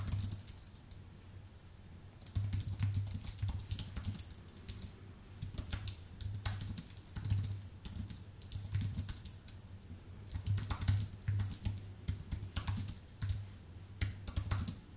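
A full-size white Apple Magic Keyboard with a numpad, thin aluminium base and plastic keycaps, sits on a dark desk and is typed on steadily with the fingertips of both hands. Bursts of quick, light, bright key clicks come in uneven runs with short pauses between them, over a constant low hum near 100 Hz.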